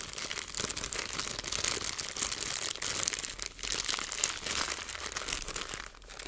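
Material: Plastic.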